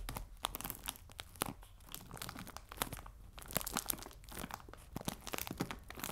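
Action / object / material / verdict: scrape / plastic bag of biscuits / plastic / none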